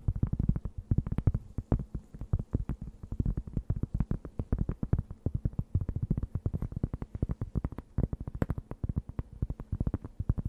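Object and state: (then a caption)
Cork board scratched with nails. A thin, round, solid and flat cork board held close to the microphone is scratched with long nails. The result is a rapid, steady run of short, dry scratching strokes with a dull, low, muffled thump, almost no bright edge, and no ringing after each stroke.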